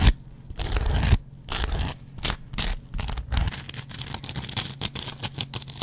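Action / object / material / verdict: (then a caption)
scrape / cellulose sponge with scouring pad / cellulose foam / none. A metal double-edge razor blade scratches and scrapes a hand-sized dry kitchen sponge, first across its yellow cellulose foam and then across its green scrub pad layer. The result is a run of dry, rasping, tearing scrapes in short bursts, heavy in low rumble with a thin bright hiss on each stroke. The strokes grow quicker and more even toward the end.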